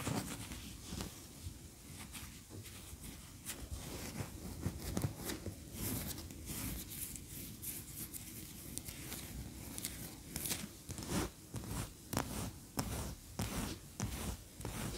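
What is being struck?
Wax pillar candle.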